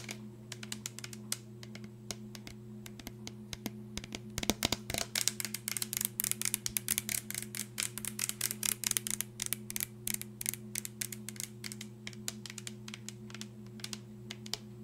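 Long nails quickly tap and scratch a mostly empty clear plastic drinking bottle with a red plastic flip cap. A dense stream of sharp, bright clicks and scratchy bursts plays over a steady low hum, getting busiest in the middle.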